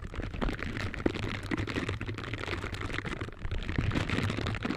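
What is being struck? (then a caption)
Silicone bristle scrubber gloves. Pink silicone bristle scrubber gloves, worn on both hands, rub their bristled finger surfaces against each other up close. This makes a continuous dense, scratchy rustling with rapid small clicks and a steady low rumble underneath, holding an even level throughout.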